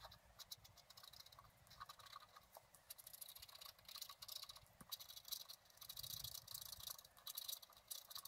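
A wooden stylus held in the fingers scratches lines into the coating of a thin, solid, flat black-coated scratch art card lying on a table. The result is a quiet, dense run of short, dry, bright scratching strokes with almost no low end and no ring after each stroke.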